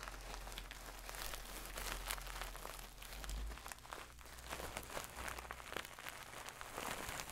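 A medium-soft stuffed pillow covered in shiny gold satin fabric, held in hand, is scratched and rubbed with long nails. It gives a quiet, continuous bright rustling and crinkling texture, with scattered short scratches over a steady low hum.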